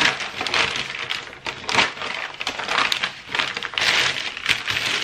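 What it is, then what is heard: Crumpled tissue paper. A large, thin sheet of already-crumpled white packing tissue paper lies spread flat on a wooden table while fingertips and a palm rub, press and crinkle it. The result is a continuous bright, crackling rustle made of many quick overlapping crinkles, swelling and easing in bursts with almost no low end.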